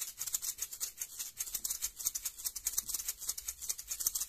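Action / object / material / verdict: shake / small plastic toy capsule with loose contents / plastic / none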